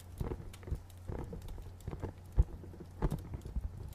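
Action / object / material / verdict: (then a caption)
tap / small cardboard box / cardboard / none. A small, dark, printed hollow cardboard box is held in both hands and tapped with fingernails. Soft, dull, low-pitched taps come in uneven clusters, each dying away almost at once over a faint low hum.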